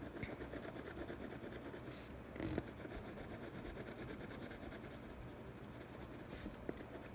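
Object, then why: Cardboard box lid scraped with a pencil tip. A hand-held blue colored pencil tip rubs and scratches across the inside of a large, hollow, empty teal printed cardboard box lid in continuous coloring strokes. The result is a steady, low, papery rasp throughout, with a couple of brief louder scrapes along the way.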